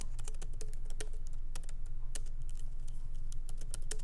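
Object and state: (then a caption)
Laptop keyboard, plastic keys. Light fingertip typing with both hands on a MacBook Pro laptop keyboard, whose small plastic keycaps are set in an aluminum body, resting on a wooden desk. Quick, irregular, bright clicks patter over a steady low hum.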